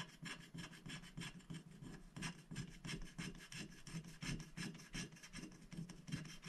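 A wooden stylus scratches the black coating away inside the sticker shapes on a flat scratch-art paper sticker sheet resting on a glass plate. The scratching is continuous and made of quick, somewhat uneven strokes, each a dry, bright rasp over a low tonal hum. The strokes stop short with almost no ring.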